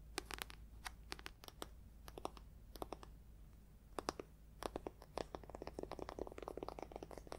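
Dozens of fast, dry nail taps and scratches, each one dying away at once with no ring. A thick paperback's paper cover and spine give a papery, slightly crisp click, since the dense stack of pages deadens every tap. Quiet room, steady low hum behind.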